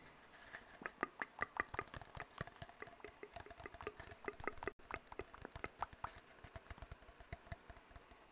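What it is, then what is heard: Empty cardboard tube. An empty, hollow brown cardboard tube is knocked and tapped with fingertips in a rapid, uneven run of short, dry, hollow knocks. Each knock has a faint resonant tone around 1.2 kHz and dies away almost at once. The tapping keeps going at a soft level except for a brief silent break near the middle.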